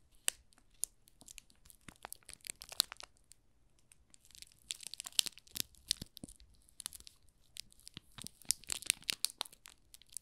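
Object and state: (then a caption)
Plastic-film-wrapped soap bar. Fingers squeeze and rub the thin plastic film wrapped around a small solid pink rose soap bar with a paper label on the back, making it crinkle. Quiet, bright crinkles and crackles come in irregular clusters with short pauses, each snap very brief and dry, with almost no low end.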